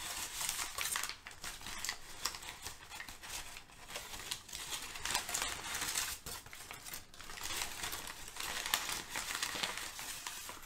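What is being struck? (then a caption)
Crumpled kraft packing paper. Crumpled sheets of thin, flexible brown kraft packing paper resting on a rug are handled, crinkled and rubbed with the fingers of both hands. A steady, dense, bright crackling rustle swells and dips throughout, with sharp crinkly snaps mostly in the high frequencies.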